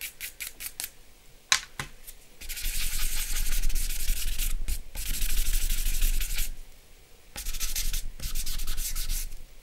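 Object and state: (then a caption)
Fingertips rubbing charcoal on drawing paper. Fingertips rub and smudge charcoal on a flat sheet of drawing paper lying on a wooden table. A few short, scratchy strokes open the clip, followed by three long stretches of steady, bright, hissy rubbing over a faint low rumble, separated by brief quiet gaps.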